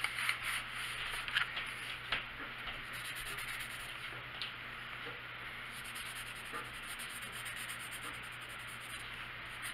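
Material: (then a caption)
Paper. A hand colors a small area of an open paper coloring book page with a blue colored pencil; the book lies flat on a wooden table with a box of colored pencils resting beside and on it. The lead rubs steadily across the paper in a quiet, bright, scratchy hiss, with a few sharper strokes near the start before settling into an even, continuous rasp.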